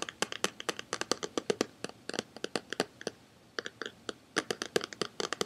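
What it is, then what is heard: DVD box set in cardboard slipcase. Fingertips and short nails tap and scratch the surface of a hand-sized, rectangular Buffy the Vampire Slayer DVD box set in a glossy printed cardboard slipcase, held up in both hands. The result is a quiet stream of dry, bright clicks and crisp scratches with no ring, with a brief pause near the middle.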